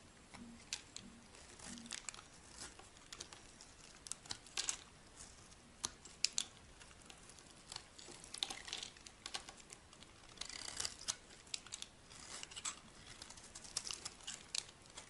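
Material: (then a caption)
Soap. A solid white rectangular bar of dry soap with embossed lettering, held in the hand, is scraped and carved with a metal blade. Quiet, bright, crisp scraping and crumbly crackling come in a steady run of short, sharp cuts with almost no low end and no ring.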